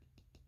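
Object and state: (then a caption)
Hard mother mold of a doll mold. A fingernail taps the outer mother mold of a silicone baby doll mold, the hard shell that holds the soft dragon skin silicone glove mold. Three short, dry clicks are heard over a low background hum, each dying away almost at once.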